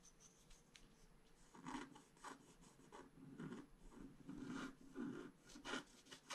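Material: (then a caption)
Paper. A wooden stylus scratches the upper dragon wing on a flat scratch-art card page, making quiet, rasping scratch strokes. The strokes come in uneven bursts with a soft midrange body and brief bright edges. Each stroke dies away almost at once.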